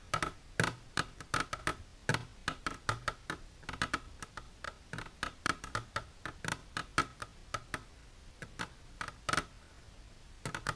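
Long silver nails tap on an empty, clear plastic container standing on end, making a rapid, irregular series of sharp, light clicks. Each tap is short and dry with a faint hollow resonance, and the level stays quiet throughout.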